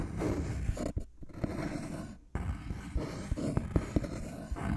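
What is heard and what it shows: A thin, flat, light-colored wooden board with rounded corners is tapped with fingertips and nails close up. Dull, low knocks and sharp clicks sound over a soft, continuous scratchy rustle, with brief quiet gaps in between.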